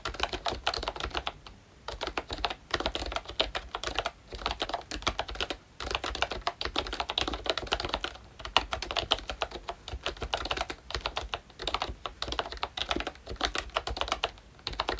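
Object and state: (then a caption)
Plastic membrane keyboard with round keycaps. Fingertips type steadily on a ROYCHE Disney full-size Mickey Mouse retro membrane keyboard, which has a pink plastic hollow-bodied case and round black plastic keycaps. Rapid, dry clicks with almost no ring come in quick bursts, separated by brief pauses. The tone is light, hollow and plasticky, with a bright clack centred near 2.9 kHz.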